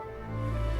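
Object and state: Nothing is struck.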